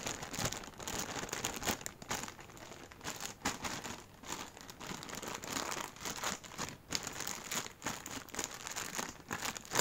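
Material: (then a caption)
Plastic. An empty, hand-sized, thin clear plastic packaging bag is crumpled and rubbed between fingers in yellow rubber gloves. The result is continuous, dense crinkling with rapid sharp crackles that rise and fall in loudness. The sound is bright and mostly high, with very little low end.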